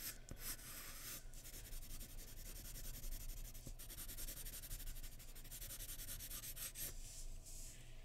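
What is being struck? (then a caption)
Graphite pencil on paper sheet over a wooden surface. A graphite pencil makes repeated shading strokes and scratches across the hair area of a drawing on white drawing paper resting on a wooden surface. A steady, dry scratching hiss carries bright, rhythmic rasps over a constant low hum, with the level staying even throughout.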